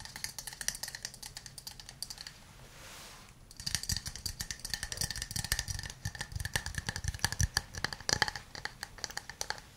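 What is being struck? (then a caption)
Small wooden cup. A hand-sized hollow wooden cup held in both hands is tapped with fingernails and fingertips on its sides and base. Bursts of quick, dry, bright clicks with a resonant ring near 1.7 kHz are interrupted around 2.5–3.5 seconds by a soft hiss. The tapping then resumes, denser and with more low thump.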